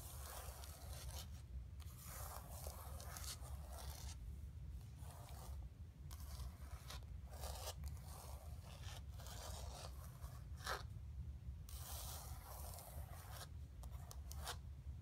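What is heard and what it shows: Long nails scratch and rub across a flat painted canvas board lying on carpet. Dry, papery rasping strokes come in bursts of bright scratching over a steady low hum, keeping an even, quiet level throughout.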